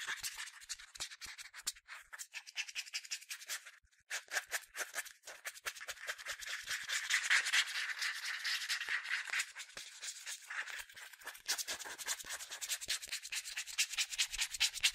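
Fingertips rub and scratch around the translucent plastic cap of a hollow, medium yellow plastic sunscreen spray bottle. The result is a dense, bright, scratchy rustle of rapid, uneven strokes with almost no low end, with a brief pause just before the four-second mark and louder, steadier scratching in the middle.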